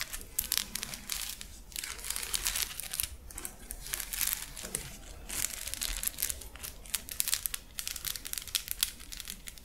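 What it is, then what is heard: Plastic mesh fidget toy. A hand-sized, hollow, flexible purple 3D-printed plastic lattice fidget toy is squeezed, stretched and scratched with long acrylic nails. The result is a steady, bright stream of crinkly clicking and crackling, with brief dense bursts and very little low end.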